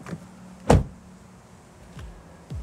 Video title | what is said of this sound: KIA EV3 - ÅRETS BIL 2025 - Den er ikke noget for mig! (1:2) | It sounds solid. This, it sounds like a car that will last for many years.